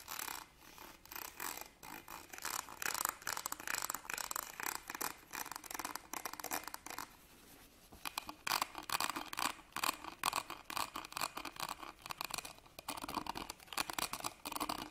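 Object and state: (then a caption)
Metal purse frame. A small embroidered fabric purse is held upright while fingernails scratch its ribbed gold-coloured metal clasp frame. The result is a steady run of quick, dry, bright scratching strokes with short pauses, and the strokes grow slightly louder toward the end.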